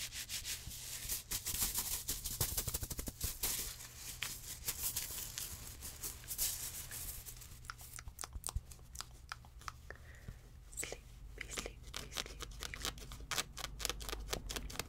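A small cream fabric stuffed cat toy is squeezed and scratched with long red-painted nails, making dense, bright scratching and rustling with quick crackly bursts. A steady low hum sits underneath, and the scratching thins out somewhat in the middle before picking up again.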